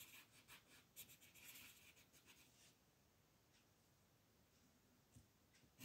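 A green colored pencil held in the fingers rubs and scratches across a thin white coloring book page lying flat on a table while coloring grass. Quiet, bright, papery strokes repeat for the first few seconds, then fade to near silence broken by a couple of brief scratches at the end.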